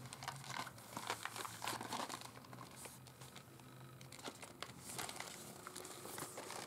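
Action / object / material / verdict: tap / small cardboard candy box / cardboard / none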